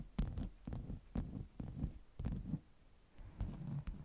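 Long nails tap and scratch the surface of a stack of flat beeswax-coated cotton wraps. They make a series of dull, low, muffled thumps with brief scratchy texture. Each hit dies away quickly, with quiet pauses between bursts.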